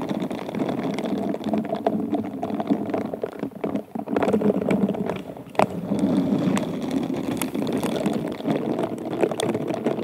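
Pink bristled silicone glove fingers rub and scratch an inverted, hollow wine glass covered in rhinestones, producing a dense, continuous scratchy rustle centered in the low-mid range. The texture briefly thins around the four- and five-second marks, with a single sharper tick near the middle, before the steady scratching resumes.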